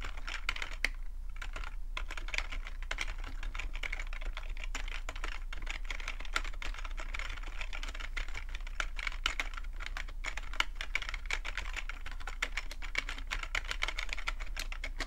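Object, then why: Plastic computer keyboard. Fingertips type steadily on a full-size black plastic computer keyboard with a hollow plastic body, producing a fast, continuous stream of short, dry tapping clicks. The clacks are bright and centered around 2 kHz, each dying out almost instantly. A steady low hum sits underneath throughout.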